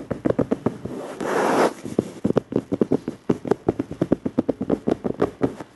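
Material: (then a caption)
Plastic. Fingertips of both hands tap and scratch the front edge and top of a dark, flat plastic surface. About thirty short, dry taps with almost no ring sound in quick rhythm, broken early by a half-second burst of broad, hissy scratching.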